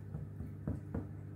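A freshly baked Irish brown soda bread loaf is picked up and tapped twice to check that it is baked through. Two short, dull, low thuds with almost no ring mark the loaf as done, which a skewer coming out clean confirms.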